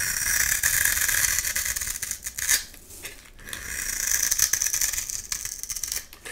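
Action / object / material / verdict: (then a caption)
scrape / bar soap scraped with a metal blade / soap / none. A metal blade scrapes the surface of a solid light-green oval bar of soap held in the hand, cutting off crumbly shavings. The sound is a bright, dry, crackling scrape with rapid, irregular ticks in two long strokes separated by a brief quieter pause.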